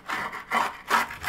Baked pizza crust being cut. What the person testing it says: you can hear how crispy it is